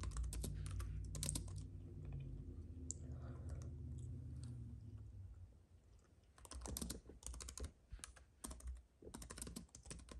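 Fingertips type on a compact white keyboard with plastic keys on an aluminium base, resting on a fuzzy mat beside an idle paintbrush. Bursts of crisp, bright key clicks come in irregular runs over a steady low hum. The typing pauses in the middle, then resumes in quick clusters.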